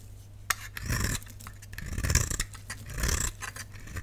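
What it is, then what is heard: Dry bar soap being scraped. A solid lilac rectangular bar of dry soap, held in the hand, is shaved with a utility knife blade that scrapes off thin powdery flakes. The sound is a series of dry, raspy scrapes with a bright hiss, each swelling and fading over about a second, with a sharp tick at the start and a low steady hum underneath.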